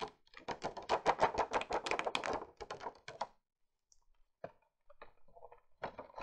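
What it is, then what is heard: Cardboard gift box. Long painted nails tap and scratch across the top of a flat, hollow, printed marbled cardboard gift box for a beauty set, with a clear plastic window showing brushes inside. A rapid, uneven flurry of dry, hollow clicks and taps fills the first three seconds, then a quiet gap follows before a few sparse taps and light scratches return toward the end.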